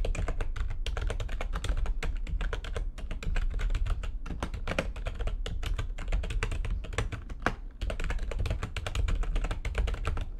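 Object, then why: Plastic computer keyboard. Fingertips with long nails type fast on the keys of a full-size, low-profile, backlit plastic computer keyboard resting on a desk. A dense, continuous stream of short, sharp clicks and taps, each dying away almost instantly, rides over a steady low hum.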